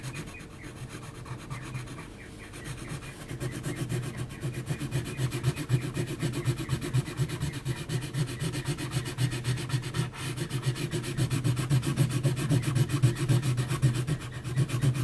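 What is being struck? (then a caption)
Graphite pencil on heavy textured paper sheet. An HB graphite pencil is scratched in short, quick strokes across a large flat sheet of heavy textured mixed-media paper, near the chin of the drawing. The result is a steady, dense, rhythmic scratching and rubbing with a low, throaty body. It starts soft and grows louder after the first few seconds.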